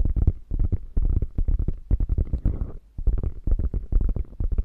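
Long fingernails scratch the quilting of a beige quilted faux leather bag with a padded, hollow body. The result is a rapid run of short, muffled, deep scratching strokes with almost no bright edge, pausing briefly before resuming.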